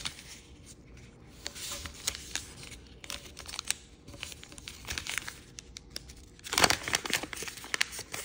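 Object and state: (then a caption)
Origami paper sheet being folded. A sheet of red floral chiyogami origami paper with a yellow back is folded by fingers, then its edges are creased and rubbed. Bright crinkling and papery scratching come in bursts, with a louder, fuller rustle near the end.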